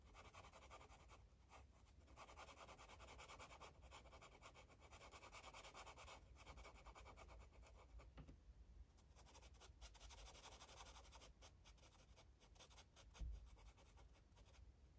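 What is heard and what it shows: A purple felt-tip marker rubs and scratches rapidly over the page of an open paper coloring book lying flat on a table. The result is a steady, quiet, papery rasp with a bright hiss on top and a low hum underneath, and one brief louder tap near the end.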